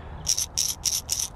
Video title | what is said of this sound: $1 WALMART Fishing Lure (Does it Catch Fish?) | it's not like a one knocker it's more of a hard knocker it's got a lot of rattles in that bad boy